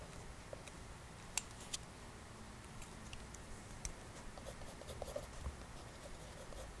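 An orange mechanical pencil makes short hatching strokes on white drawing paper in an open sketchbook resting on a table, its graphite tip scratching across the page. Quiet, dry scratches come in brief bursts with a few sharper, bright ticks. A soft, low background rumble runs underneath throughout.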